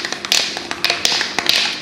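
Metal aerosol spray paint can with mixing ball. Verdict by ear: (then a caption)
Loose. A metal aerosol can of Zinsser Covers Up white stain-sealing ceiling paint is shaken, and its mixing ball rattles freely inside in a quick series of bright, clicking metallic knocks. The rattle is the good sign that the ball is loose and mixing the paint; a can that doesn't rattle should be tapped on the ground to free the ball.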